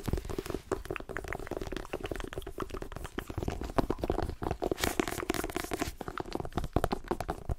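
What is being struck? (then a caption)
Paperback book with glossy cover. Fingernails tap rapidly on the glossy cover of a solid paperback book held in the hand, mixed with gripping and rubbing of the cover. The result is a dense, continuous patter of short, dull taps and soft crinkly scratches, weighted toward low thuds with little brightness and no ringing after each hit.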